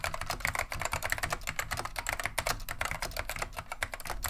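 Two hands type continuously with their fingertips on a beige plastic vintage Wang 725 mechanical keyboard fitted with neon green/lime Alps SKCM switches. The result is a rapid, steady stream of sharp, bright key clacks, each with a short ring, over a faint low hum.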